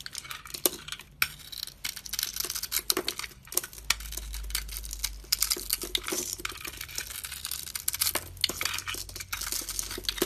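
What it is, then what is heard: Bar soap being shaved with a blade. A solid oval bar of soap, shimmery purple outside and light blue inside, is held in the hand while a metal box-cutter blade shaves flakes off its surface. Dense, crisp scraping and crackling bursts come in quick succession, mostly bright with little low end. A faint low rumble sits underneath around the middle of the clip.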